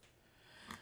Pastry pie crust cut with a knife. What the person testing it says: did you hear how crispy that pie crust sounds